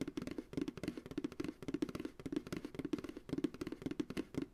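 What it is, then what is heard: Empty plastic ice cream pail. An empty white plastic ice cream pail rests on a lap with its hollow bottom turned outward and is tapped rapidly with the fingertips of both hands. About two dozen quick, dry, hollow knocks with a woody, mid-low tone near 290 Hz die away almost instantly, in uneven bursts like a soft drum roll.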